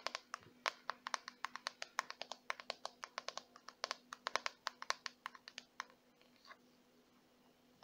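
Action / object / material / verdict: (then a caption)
tap / plastic detangling hairbrush / plastic / none. Long white-painted nails tap the smooth back of a small, handheld, hollow-backed purple plastic detangling brush and scratch and flick its black plastic bristles, with hair possibly touching the bristles at moments. About forty quick, dry, bright clicks come in a rapid, uneven patter for roughly six seconds. A soft scratch follows in a quieter stretch, then one last tap at the end.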